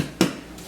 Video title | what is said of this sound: Italian bread for dipping! | When it sounds hollow, it's good.